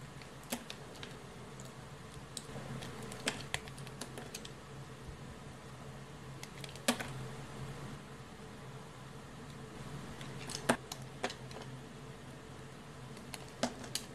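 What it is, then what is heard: Bar soap being sliced. A utility knife blade slices and shaves a small, solid piece of mint-green bar soap held between the fingers. It makes crisp, bright scraping cuts and sharp ticks at irregular intervals, with soft rasping in between. A steady low hum runs underneath throughout.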